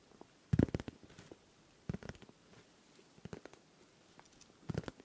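Fingertips and nails tap and scratch the face of a hand-sized, hollow, clear pink plastic pencil case with small items inside, held close to the microphone. Quiet, dull, low-heavy tapping comes in four short clusters, with light scratching between them. Each tap is crisp and dies away almost instantly.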